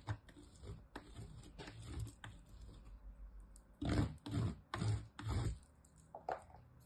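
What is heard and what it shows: A small, nearly used-up piece of solid green soap is scraped with the fingers across the fine side of a metal grater, and crumbs pile up. Quiet, rhythmic rasping strokes come first, then a run of louder, fuller scrapes in the middle, with a low, dull body and a faint bright grit.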